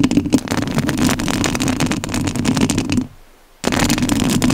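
Long nails scratch the metal mesh grille of a rhinestone-covered studio microphone, making a dense, crackly scraping with a low rumbling body and bright raspy edges. The scratching stops for about half a second near the three-second mark, then starts again at the same level.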